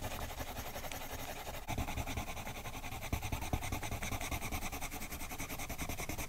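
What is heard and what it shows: A colored pencil held in a silver metal extender makes quick, repeated short rubbing and scratching strokes on a thin paper page of an adult flamingo-pattern coloring book resting on a woven mat. The strokes give a steady, bright, papery scratch over a low hum throughout, getting slightly louder after the first couple of seconds.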